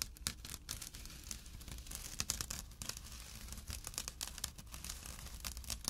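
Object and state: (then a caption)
Burlap drawstring bag. A small, empty jute burlap drawstring pouch resting on dark cloth is scratched with short nails and fingertips. The result is a rough, dry, crackly scratching with many quick bright rasps and brief louder strokes over a low, soft rumble.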